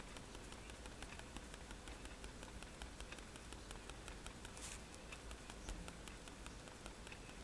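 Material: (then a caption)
Paper. A fine-tip technical pen held in the fingers stipples dots along a wand drawing on a flat sheet of white drawing paper resting on a table. Rapid, light, crisp ticks of the pen tip sound in a steady run over a soft, low background hum.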